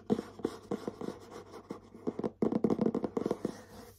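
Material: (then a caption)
Cardboard. Short nails tap and scratch on the back of a medium printed cardboard bath set box, which sounds hollow. About fifteen quick, dull taps mix with soft scratching; each hit has a low-mid hollow body and dies away almost at once, with almost no brightness. The tapping turns denser and louder in the second half.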